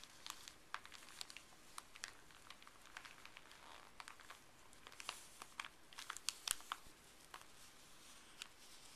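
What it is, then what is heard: Paper wrapper being crinkled. Fleece-gloved fingers crinkle, fold and unfold a thin, small folded white paper wrapper with blue print. The result is quiet, bright, papery crinkling, broken by many short, sharp crackles that cluster more densely toward the middle and fade with almost no ring.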